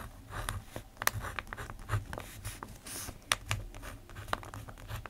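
A plastic ballpoint pen writes on the page of an open paper notebook, making dry, scratchy strokes with sharp, bright ticks as the tip moves and lifts. The quick scratches come in irregular bursts over a faint low hum, each dying away almost instantly.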